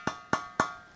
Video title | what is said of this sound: Furnace Short Cycling (Thermostat, Heat Anticipator, & Much More) | if you tap on this should sound hollow